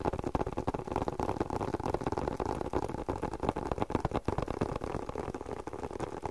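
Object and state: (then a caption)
Leather spectacle case. Fingertips and nails tap and scratch a hollow, hand-sized black leather glasses case. The result is a rapid, uneven patter of soft, dull, short taps with light scratching, mostly low to mid in tone with almost no bright high end.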